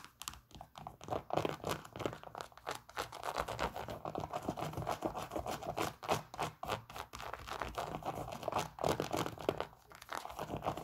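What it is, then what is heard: Synthetic leather sneaker. A white Nike Air Max 97 sneaker, hollow and empty with a synthetic upper and a plastic air unit, is held in the hands and scratched and tapped on the side with long pink nails. Quick, irregular bursts of dry scratching and crisp tapping clicks run continuously, each sound short and dead with no ring.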